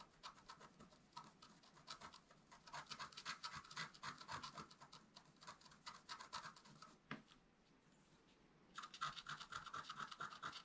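A wooden stylus scratches across a flat, black-coated scratch art paper card held down by the other hand. It makes rapid, dense, bright scraping strokes in quick bursts. After a brief quiet pause near the end, the scratching resumes.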